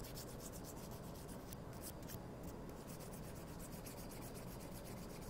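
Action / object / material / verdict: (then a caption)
scrape / wooden toothpicks / wood / none. Thin, solid wooden toothpicks are held in both hands and rubbed and scraped against each other with fingertips and nails. The result is a quiet, continuous dry rubbing and scratching with a soft low rumble underneath and faint, rapid, bright scratchy flicks on top.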